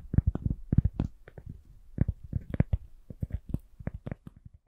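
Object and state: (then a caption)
Cork coaster tapped with nails. A round, solid, thin cork coaster held in both hands is tapped with long nails. It gives a quick, irregular series of soft, dull, low thuds that die away almost instantly.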